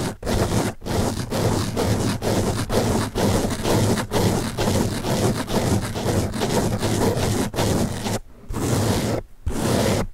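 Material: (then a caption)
Foam. Fingertips scratch the top surface of a large blue open-cell foam car sponge held in the other hand, making a dense, continuous scratchy rustle. The rustle is full from low to bright and weighted toward the low end, broken by brief dips and a few short pauses.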